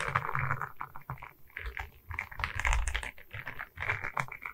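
A diamond painting on a wooden canvas, a flat rectangular board covered in small resin rhinestone beads on a wooden frame, is held in both hands while long red nails tap and scratch the bead surface. Quick, dense clicking taps and gritty scraping run in uneven bursts over a low rumble, with short, dry sounds that die away almost at once.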